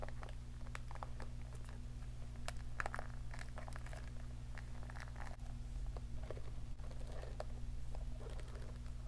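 The plastic bristles of a round hair brush with a pink plastic handle and vented barrel are scratched and flicked with long nails close to a microphone. Soft, crinkly scratches and quick, dry ticks come in short, scattered bursts over a steady low hum.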